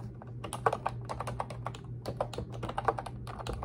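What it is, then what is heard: Plastic computer keyboard being typed on. Long red acrylic nails and fingertips type and tap continuously on a pink retro-style Ubotie plastic keyboard with round white-and-pink keycaps and a hollow body. The result is a steady stream of short, clicky, hollow plastic clacks with sharper nail taps, over a faint low hum.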